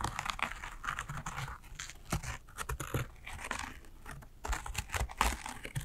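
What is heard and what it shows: Long acrylic nails scratch across a small embroidered fabric shoulder bag with thread embroidery. The result is a steady stream of dry, crinkly rasps and soft scrapes, with brief brighter flicks and a low rumble underneath.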